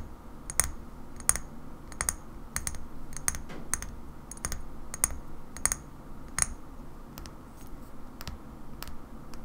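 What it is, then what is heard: Small glass bottle. A small cobalt-blue glass bottle of rosehip oil with a paper label is held in one hand and tapped on the glass with long fingernails. Slow, sharp, bright clicks sound at an unhurried pace, each dying away almost instantly, over a low, steady background rumble.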